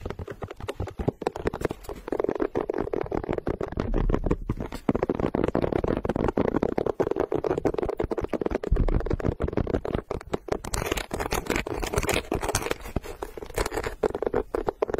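Long nails scratch and tap across the textured gum rubber tread on the underside of a pink sneaker, held flat. A dense, continuous run of dull, rasping scrapes and quick soft taps, mostly low-mid with little high end and no ring.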